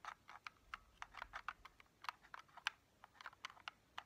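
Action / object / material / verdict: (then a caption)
tap / hard plastic game-controller steering wheel / hard plastic / none. Long painted fingernails tap and scratch a small, hollow, black hard-plastic Joy-Con steering wheel accessory held in both hands. About seventeen quiet, dry, clicky taps sound in an irregular rhythm, with a bright mid-high tone and no ring after each hit.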